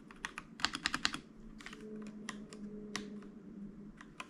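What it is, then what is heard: Plastic mechanical keyboard. Fingertips of both hands type on a white mechanical keyboard with plastic keycaps lying on a desk, producing about 13 sharp, bright clicks. A quick burst of keystrokes comes first, then sparser taps over a faint steady low hum.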